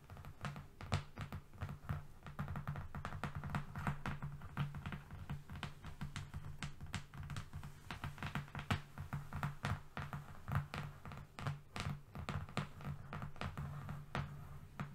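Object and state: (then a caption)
Flat cardboard sheet. A thin, solid sheet of brown cardboard, a long flat strip lying on a fluffy rug, is tapped and scratched with the long painted fingernails of both hands. Rapid, steady, dry clicking taps mix with brushing scratches over a soft, low, hollow thump. Each tap dies away almost instantly.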